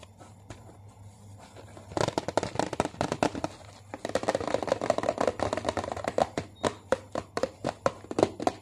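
Long fingernails tap and scratch the front panel of a medium, hollow Cocoa Krispies cardboard cereal box held upright. After about two seconds of faint, soft scratching, quick, crisp hollow taps begin in dense, uneven bursts with a brief lull near the four-second mark. Then come more steady, evenly spaced sharp clicks with a papery, mid-pitched knock and bright edges.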